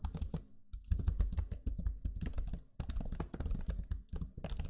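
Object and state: Plastic laptop keyboard.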